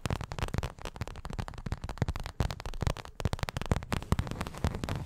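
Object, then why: Small paperboard milk carton. A small, hollow, printed paperboard milk carton is held near the microphone and tapped and scratched with long acrylic nails. The result is a rapid, uneven stream of dull, hollow, low-pitched knocks, with a muffled body around 100 Hz. Each tap dies away almost instantly, with faint scratchy rustling between them.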